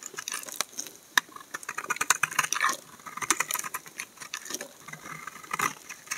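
A solid white laundry soap bar held in the hand is scraped with a utility knife blade, peeling off curls of soap. The result is a dense run of quick, dry, crackling scrapes and ticks that are bright and thin, with almost no low end and no ringing after each stroke.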